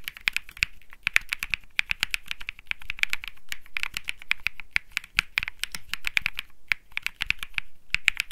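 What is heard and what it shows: Fingertips type steadily on a compact Think 6.5 mechanical keyboard with Bsun Lollipop switches, an aluminum case, a PC plate and plastic keycaps. Quick, short, bright clacks follow one another in an uneven rhythm, each with a dull low thud underneath and almost no ring.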